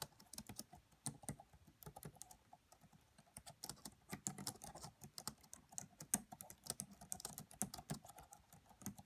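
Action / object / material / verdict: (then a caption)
tap / plastic laptop keyboard keys / plastic / none. Fingertips and long manicured nails of both hands type rapidly on the black plastic chiclet keys of a red laptop with a hollow body. The result is a quiet, continuous stream of short, dry clicks and taps, with bright clicky tops over a soft hollow thud.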